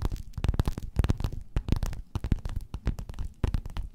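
Long nails scratch and tap a flat, padded, gold metallic quilted faux-leather cover in a quick, irregular series of soft strokes. Each tap lands as a dull, muffled, low thump with almost no ring, carried by faint brighter scratching streaks.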